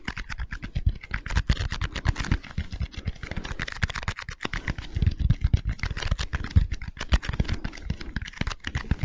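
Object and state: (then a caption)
Foam bead slime (floam). A small mass of pink foam-bead slime (floam) is stretched, squeezed and pressed between the fingertips of both hands close to the microphone. It makes a dense, continuous stream of quick sticky crackles and tiny pops, with soft low squelchy thumps underneath throughout.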